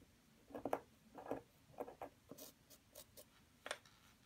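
A solid white plaster excavation block resting on tissue paper is scraped with a small wooden pick and rubbed with fingertips and nails, with loose plaster crumbs falling around it. Short, dry scratching bursts with a mid-range body are heard, some with bright, hissy tops, each fading almost at once against a quiet background.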